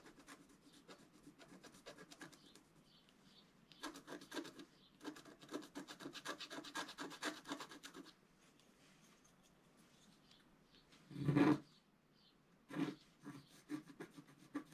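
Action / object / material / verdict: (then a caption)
scrape / coated scratch-art card scraped with a wooden stylus / coated paper / none. A wooden stylus scratches across a flat, black-coated scratch-art card held down by one hand. Soft, rapid rubbing strokes come in dense bursts with brief pauses, giving a dry, bright fizz. One louder, fuller stroke stands out near the end, followed by a few shorter scratches.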